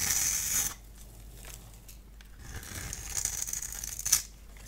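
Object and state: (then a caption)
Dry bar soap being scraped. A solid, dry, cream-colored bar of soap held in the hand is scored and shaved into crumbly strips with a multi-blade cutter. A loud, bright scraping rasp opens the clip and stops abruptly. Softer, crackly scratching then builds back up to a sharp scrape near the end.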